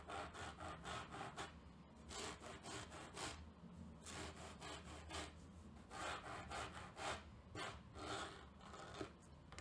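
A tortoiseshell-patterned plastic comb, held by a hand with long lilac nails, is drawn quickly back and forth across the pile of a thick grey terry-cloth towel laid flat on a table. It makes a steady run of rough, bright, rasping scratches, like sawing or filing, at roughly two strokes per second with uneven timing. Each stroke is dry and short with no ring after it.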